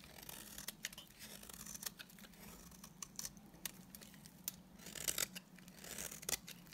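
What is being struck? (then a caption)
Bar of soap scraped with a knife blade. A utility knife blade scrapes the face of a solid, dry white bar of soap, making quiet, bright, crisp scratching strokes. Sharper rasps stand out over a steady low hum, and each stroke cuts off almost at once with no ring.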